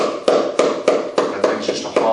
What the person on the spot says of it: That thing's just a hollow piece of wood.